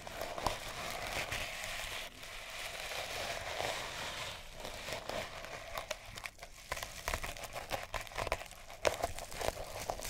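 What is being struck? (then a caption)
Sisal rope cat toy. A mouse-shaped cat toy wrapped in colored sisal rope is held in the hand and scratched and rubbed with long nails. The result is a steady, dry, fibrous rasping with a bright, crinkly edge. In the second half it breaks into sharper, uneven scratches and crackles.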